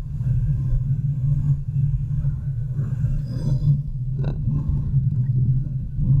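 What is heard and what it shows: Long nails on both hands scratch and rub the sides and top of the hollow, domed steel mesh grille of a large desktop USB microphone. The result is a continuous, dense, low rumbling scrape with a steady hum-like tone. There is one brief sharper scratch just past the four-second mark.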